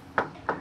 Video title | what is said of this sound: Rumah Gaya American dengan Pemandangan Menawan | solid, it doesn't sound teng-teng-teng like that.